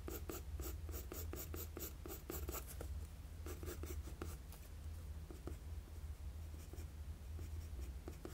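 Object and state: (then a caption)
Pencil drawing on paper. A wooden HB graphite pencil draws long lines across a flat sheet of drawing paper. Dry, scratchy strokes come in a quick, even rhythm at first, then grow sparser and more scattered, over a steady low hum.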